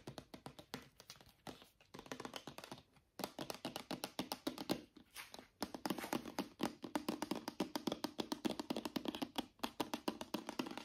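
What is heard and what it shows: A small white plastic Head & Shoulders travel shampoo bottle, hollow and filled, is tapped with fingernails and fingertips while held upright and then sideways. Quick, uneven bursts of light, hollow clicking taps with a low plastic tone around 300 Hz stop dead, with brief pauses between the runs.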